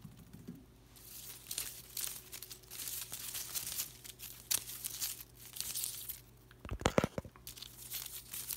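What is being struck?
Artificial plant with thin plastic leaves.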